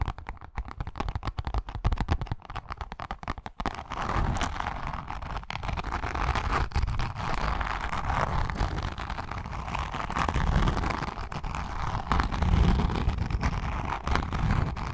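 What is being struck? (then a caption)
Grained leather wallet. Long nails scratch across the surface of a pink, grained leather wallet. For the first few seconds there are sparse, dry crackling ticks, then a dense, continuous rough scratching with a heavy low rumble that swells and fades.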